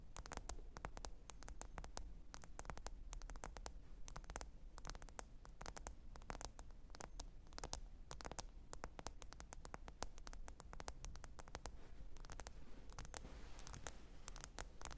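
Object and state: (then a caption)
Smartphone glass screen tapped with nails. Long pointed nails tap and scratch the glass screen of a small, thin, solid black smartphone lying flat and screen-up on faux fur. A rapid, steady stream of crisp, short clicks and brief scratches rings high and bright over a constant low hum. The taps stay quiet and evenly spaced throughout, with slightly denser scratching near the end.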